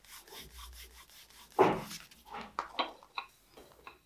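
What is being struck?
Glued leather wallet panel.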